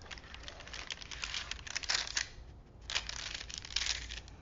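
Fingertips rub and press along a long printed paper film strip from a vintage toy movie reel, partly unrolled from its small spool and laid flat on a wooden table. Soft, bright crinkling comes in dense bursts that swell and fade, with a brief quiet dip in the middle before picking up again.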